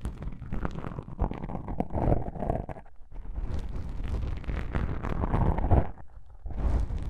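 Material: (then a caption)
Foam. Long pink nails scratch black foam microphone windscreens, producing a close, muffled rumbling and crackling scrape that is heavy in deep low tones. The rubbing comes in dense, uneven bursts with brief quieter dips in between.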